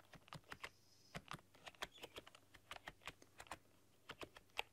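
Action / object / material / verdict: tap / plastic computer keyboard / plastic / none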